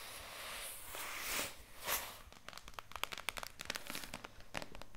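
A white HDPE plastic jug of oxygen bleach powder, with a handle and screw cap, hollow and partly full, is handled and then tapped with long nails. Broad rustling swells in the first two seconds give way to a string of sharp, dry clicks and taps with almost no ring.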